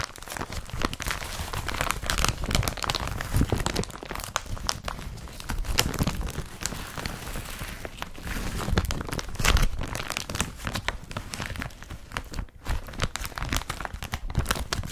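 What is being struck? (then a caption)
Woven polypropylene carrier bag. Fingertips scratch and crumple an empty blue woven polypropylene IKEA BRATTBY carrier bag laid flat. The result is a dense, continuous crinkling and rustling texture with quick scratchy crackles across a wide range, from a heavy low rumble up to bright top. Louder crumpling swells come around 2–4 s and 9.5 s, with a brief near-pause at about 12.5 s.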